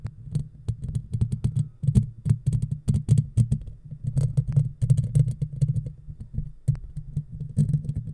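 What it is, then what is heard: Fingernails scratching a metal mesh microphone grille. Long natural fingernails on both hands scratch across the black, round, woven steel mesh grille of a hollow handheld-size microphone. The result is a dense run of quick, dry scratches and taps, deep and thumpy with a bright, faint hiss above, each stroke dying almost instantly.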